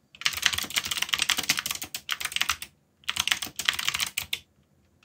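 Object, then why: Mechanical keyboard with plastic keycaps. Fingertips type continuously on a backlit mechanical keyboard with plastic keycaps, producing rapid, bright, clicky keystrokes with very short decay. The typing comes in bursts: a long run, a short one, a brief pause, then another long run before it stops.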